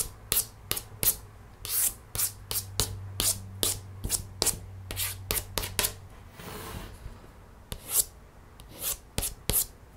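A long nail traces over the tiger illustration in an open cardboard board book, its thick glossy paperboard page partly lifted. Eighteen short, bright scratching strokes and taps come in an uneven rhythm, with a longer, softer rub near the middle. A steady low hum sits underneath for the first six seconds.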